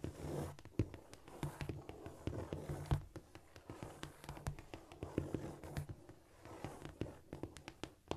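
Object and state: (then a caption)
Cork floor, solid. Long almond-shaped nails tap and scurry across a flat, solid cork floor. The result is a quick, irregular run of short, dull, low-weighted taps mixed with soft scratching, each tap dying away almost at once.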